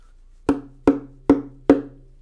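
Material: Wood.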